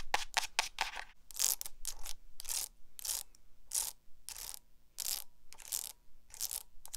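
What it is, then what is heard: Hardcover spiral notebook. Long acrylic nails scratch and tap the cover and metal spiral binding of a small black hardcover notebook. A rapid run of short, bright, crisp scratching and tapping bursts follows, with a faint low hum underneath and quick pauses between strokes.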